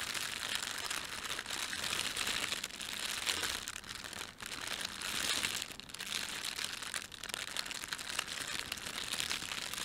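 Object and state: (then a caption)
Plastic bag being crumpled. Fingertips of both hands press, rub and crumple a thin, empty red printed plastic bread bag lying on a table with a white plastic layer underneath. The result is a steady stream of bright, dense crinkling with brief dips in level, mostly high-pitched and with almost no low end.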